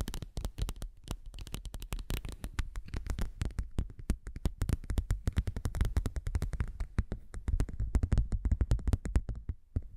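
A thin, flexible, translucent textured non-slip silicone seal sheet is tapped and scratched with long nails and fingertips. It gives a rapid, steady stream of short, soft, low thuds, each with a brief bright click on top and almost no ring. The patter runs unbroken through the whole clip and eases off briefly near the end.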